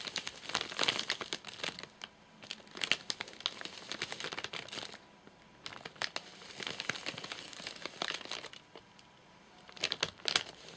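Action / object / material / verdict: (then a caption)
tap / nougat bar in a plastic wrapper / plastic film / none. Fingertips tap the top of a full, flat rectangular Soft Nougat bar in a crinkly plastic wrapper as it is turned to show its side. Quick, bright crinkling and crackling of the plastic comes in four bursts separated by short quiet gaps. The sound is almost entirely high-pitched, with very little low end.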